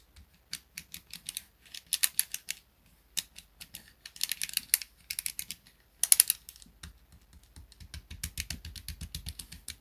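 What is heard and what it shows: A small grey plastic pocket calculator, held on a desk mat, has its plastic keys tapped and clicked by fingertips. The result is rapid, bright, dry clicks in uneven bursts with brief pauses between them, each tap dying away almost instantly.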